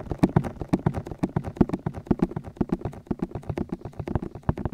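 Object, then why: Silicone ear shells of a binaural microphone. Fingertips of both hands rapidly tap and rub the soft, hollow white silicone ear shells on both sides of the black metal body of a 3Dio binaural microphone. The result is a fast, uneven stream of dull, low thumps with short, bright clicking edges, each dying away almost at once.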